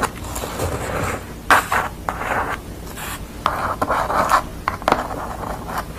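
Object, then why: Pastel drawing on corrugated cardboard. Long nails scratch along the visible corrugated edge and across the surface of a piece of corrugated cardboard bearing a yellow pastel portrait. Dry, rasping scrapes come in short, uneven bursts, centered in the midrange with a faint bright edge and little low end.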